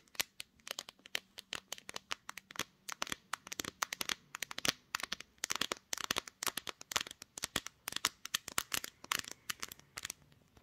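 Long painted acrylic nails on both hands tap and scratch across the glossy glass back of a pink gradient Samsung smartphone, which is mounted on a tripod, seen in a mirror, and doing the recording. The result is a rapid, irregular stream of bright, crisp clicks and ticks, each dying away almost instantly, with faint scratchy rasps between them.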